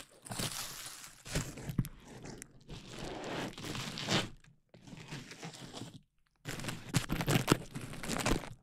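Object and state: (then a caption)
Plastic bubble wrap sheet. A large clear plastic bubble wrap sheet is held up and then draped over a dummy-head microphone while hands crinkle and squeeze it. Dense, broadband crinkling and sharp crackles come in four bursts separated by brief pauses, with a bright, papery texture over a softer low rustle.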